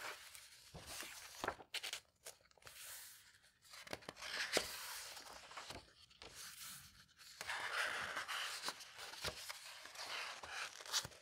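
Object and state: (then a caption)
Old paper book. Fingertips with painted nails slowly turn the thick printed paper pages of a vintage hardcover fairy tale book lying open. Dry, crisp flips and soft rubbing rustles come in uneven bursts, bright and papery with almost no low end. Each page settles quickly into a quiet pause before the next.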